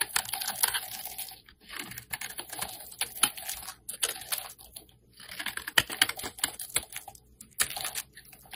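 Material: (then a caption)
Glycerin soap. A metal blade scrapes shavings off the surface of a translucent orange glycerin soap bar held in hand. Dry, bright, crackling scrapes come in clustered bursts separated by brief pauses, with almost no low end and no ring after each stroke.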